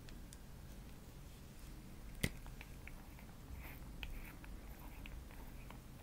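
Long nails tap the black plastic cap and glass body of a small, full-looking pink OPI nail polish bottle. Over a quiet, low background hum, one sharp bright click stands out, followed by softer light ticks and taps that die away almost instantly.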